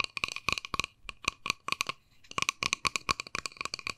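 Long nails tap quickly on a small, hollow, white-and-pink plastic case as it is turned in the hands. The result is a rapid run of sharp, bright clicks with a clear tone around 1.1 kHz, each dying away almost instantly, with a brief lull near the two-second mark before the tapping resumes.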